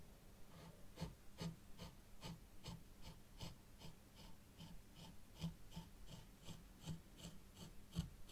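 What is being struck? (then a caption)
Fine sand in a small tray, stirred with a plastic stick. A thin white plastic stick is drawn slowly through fine sand in a small hexagonal zen garden tray. The result is a quiet series of soft, gritty scraping strokes with a bright, rasping edge over a low background rumble.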